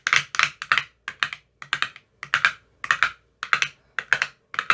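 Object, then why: Plastic ice cube tray with silicone cell bottoms. A thin metal rod taps inside the cells of an empty clear plastic ice cube tray with green silicone cell bottoms. It makes quick bursts of dry, bright clicky taps with a mid-high tone around 1.6 kHz. The taps come in uneven clusters, each dying away almost at once.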